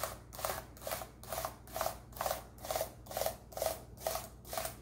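A gloved hand scrubs a toothbrush with a wooden or bamboo handle over the keys of a black plastic laptop keyboard. Eleven brisk, evenly paced brushing strokes each give a bright, bristly hiss with a mid-pitched plastic rattle from the keys, over a faint low hum.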